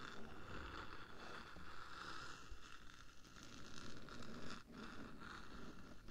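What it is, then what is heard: Metal microphone case scratched with nails. Long nails on one hand scratch across the top of the black, hollow metal body of a 3Dio microphone. The result is a steady, quiet, dense rasping with a low rumble underneath and a faint scratchy band in the mids. A few brief, sharper scrapes stand out.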